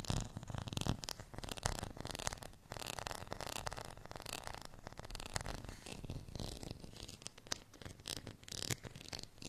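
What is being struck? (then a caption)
Ridged plastic rice paddle. Fingernails scratch a beige, ridged, textured plastic rice paddle, which is briefly moved close to the camera. The result is a quiet, steady run of dense, raspy scratching with bright, crackly detail over a soft low rumble, each stroke stopping short with no ring.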